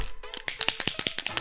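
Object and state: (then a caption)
Paint marker with a mixing ball rattling inside. A water-based acrylic Posca paint marker with a plastic barrel is shaken to activate it, and the mixing ball inside rattles. About eleven sharp, bright clicks come in a quick, uneven series, each dying away almost at once. The rattle is normal and shows the marker holds a ball for stirring the paint.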